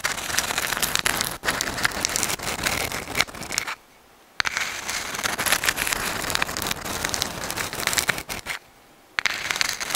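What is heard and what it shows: A dried white sand dollar, a palm-sized, thin, flat and hollow calcium carbonate skeleton held in both hands in front of a microphone, is scratched and rubbed with long acrylic nails. The result is a dense, bright, crackling scratch centered around 2.3 kHz with very little low end. The sound stops twice for about half a second, near 4 and 9 seconds.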